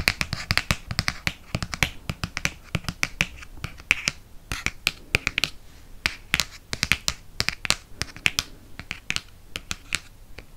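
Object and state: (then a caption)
Hardcover book. Fingernails tap rapidly on the front cover of a hardcover copy of *Harry Potter and the Prisoner of Azkaban*. The result is a fast, irregular stream of sharp, bright clicks that stop almost instantly. A faint low thud sits under the quiet gaps.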